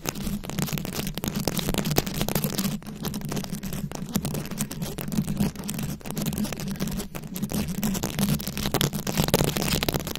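Very long acrylic nails scratch a round, fist-sized microphone head covered in plastic rhinestones and beads. The result is a dense, continuous stream of crackly scratching and clicking over a steady low hum, with brief dips in loudness along the way.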